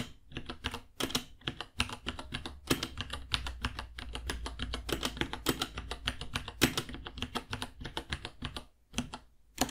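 Fingertips type steadily on a white 66-key mechanical keyboard, about 30 cm long, with Gateron Brown switches, plastic keycaps and a hollow case. It makes a dense run of bright, clacky keystrokes over a low, hollow thump, with a few louder strikes standing out and a brief pause near the end.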